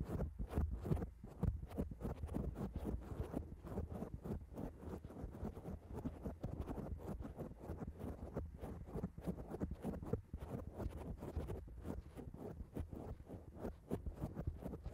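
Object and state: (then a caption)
Foam microphone windscreen. Long acrylic nails on both hands scratch and tap quickly over a black foam microphone cover. The result is a dense, steady stream of muffled, low thuds and rustles that are heavy in the bass, with very little brightness.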